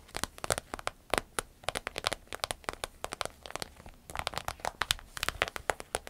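Long nails tap and scratch the surface of an empty, medium-sized green striped glossy vinyl zip travel pouch. A rapid, uneven run of sharp, crinkly clicks and scrapes sounds bright and dry, with each tap dying away almost instantly and very little low end.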